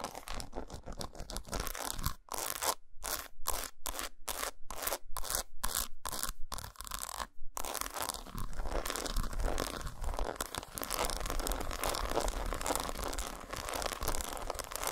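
Long nails scratch and tap the square segments of an unwrapped solid dark chocolate bar lying patterned side up on a towel. Dense, crunchy scratching gives way around two seconds in to a run of quick, separated taps with brief silences between them. Steady, continuous scraping then fills the rest of the clip.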